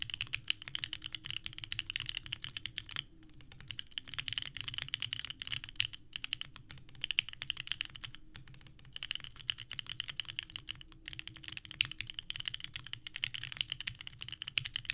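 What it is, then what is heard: Mechanical keyboard with ABS keycaps. Both hands type continuously with the fingertips on a small 65% mechanical keyboard with a purple case and white ABS keycaps resting on a desk mat. The result is a dense, steady stream of short, clacky key presses with a bright, high click centered around 3 kHz. Brief lulls occur near 3 and 8.5 seconds.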